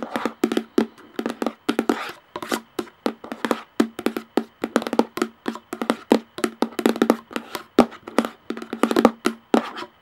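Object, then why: Plastic jar lid. Long nails tap the top of the hollow plastic lid on a clear plastic jar in quick, uneven bursts. Each tap is short and dry with almost no ring, and it carries a faint hollow tone around 240 Hz and a light clicky edge.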